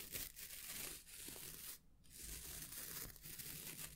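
Fingertips scratch the natural bristles and the wooden edge of a small oval hair brush with a wooden back, held in the hands. A soft, bright, crackling scratch runs almost continuously with a low rumble beneath, briefly dropping to near silence midway before resuming.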